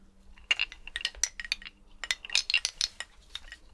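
A skeleton's bones are clinked together, giving a quick, irregular series of light, bright clinks and clicks. Each one is short and dry, with almost no ring, over a faint low hum.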